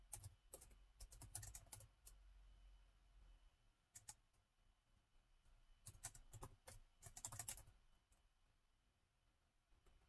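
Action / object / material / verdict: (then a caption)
tap / laptop keyboard with plastic keys / plastic / none. Fingertips of both hands type on the black plastic keys of a gold metal-look laptop with a hollow body, making short, bright, hollow clicks. The keystrokes come in irregular bursts separated by quiet pauses, over a soft low rumble.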